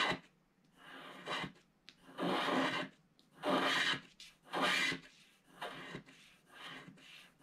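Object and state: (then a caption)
Scratch art card being scraped. A wooden stylus scratches away the remaining black coating at the top right of a flat black-coated scratch art card. Six dry, rasping scrape strokes rise and fade in an uneven rhythm, bright and hissy with little low end.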